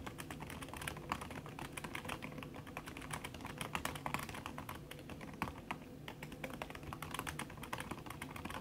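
Fast typing with fingertips and long red nails on a backlit aluminium laptop keyboard whose plastic keys sit under a red silicone skin. A dense, steady stream of soft, muted clicks with short, dull decay runs throughout, with occasional slightly louder key strikes standing out.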